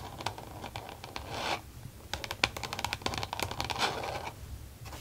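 Long nails on both hands rapidly tap and scratch a flat, glossy green plastic case with an elastic band closure lying on a desk. Quick, sharp, bright clicks mix with longer scratchy swishes, each tap dying away almost instantly.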